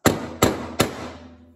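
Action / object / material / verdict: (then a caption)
tap / steel hammer tapping a polymer part fitted in an aluminium receiver / polymer, aluminium / seated. A steel hammer taps a polymer shell deflector three times into the dovetail of an aluminum upper receiver for a CZ Bren 2. Each tap is a sharp, bright strike with a ringing metallic tail that decays over a fraction of a second. The solid, metallic sound shows the part is fully seated against the dovetail.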